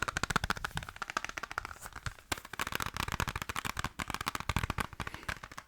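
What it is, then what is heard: Plastic game case, fast tapping. Fast tapping on the plastic PS1 case of Resident Evil Director's Cut, matched against a PS2 case in a tapping contest judged only by preference. A rapid run of short, dry clicky taps with a bright edge and a low thump underneath, dipping briefly near the middle and again before picking back up.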